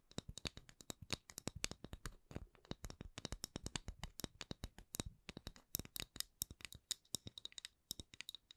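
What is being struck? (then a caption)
Wooden candle lid. Long acrylic nails tap and scratch a solid, palm-sized round wooden candle lid with a printed logo. A steady run of quick, dry, bright clicks with almost no ring is mixed with short scratchy strokes, all at a quiet level.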